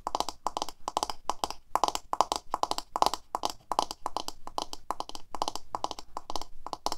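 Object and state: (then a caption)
Plastic hairbrush tapped with fingernails. A medium black paddle hairbrush with a hollow plastic handle and plastic bristles is held in both hands while long fingernails and fingertips tap its handle and body. Quick, dry, hollow plastic clicks come in rapid bursts with short pauses between them, each tap dying away almost instantly. The tone centers around 850 Hz with a bright edge.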